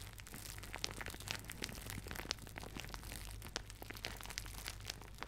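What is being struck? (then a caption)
Thin plastic shower cap. A thin, soft, empty white plastic shower cap with blue polka dots is balled up, crushed and crinkled between fingertips and nails close to the microphone. A steady stream of dense crackling and crinkling is punctuated by sharp, bright snaps over a low, constant hum.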